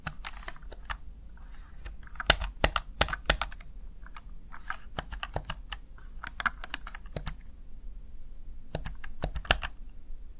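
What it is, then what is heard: Plastic gaming keypad. A small backlit plastic Razer Tartarus Chroma gaming keypad, seen from the front, has its keys pressed by fingertips and nails. About thirty short, sharp, bright clicks and taps come in irregular bursts and pauses over a faint low hum. Each click dies away almost instantly.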